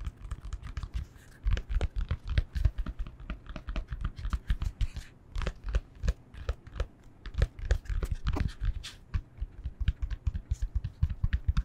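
Fingertips tap rapidly on a yoga block in a dense, uneven run of short, dull knocks. Each knock is soft and low, with a faint bright click on top, and dies away almost at once. Some quick taps bunch into brief flurries between the louder strikes.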